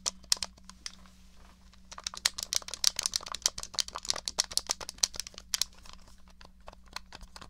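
Long nails tap and scratch the shell and buttons of a small, hollow, grey plastic SNES controller. Dozens of quick, dry, bright clicks and ticks come in uneven bursts, with a softer scratchy stretch early on and a faint steady low hum underneath. Each tap dies away almost instantly.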